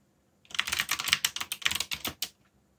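Fingertips tap the keys of a backlit black plastic mechanical keyboard while typing. About eleven quick, bright clicks with very short decay come in a rapid, uneven burst lasting under two seconds, with quiet before and after.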